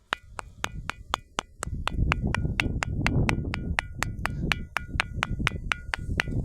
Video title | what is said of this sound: वाजणारे दगड आणि निसर्ग संपन्न परिसर | त्यांचा आवाज होत नाही पण याच्यातून थोडासा धातूचा आवाज आपल्याला ऐकायला येतो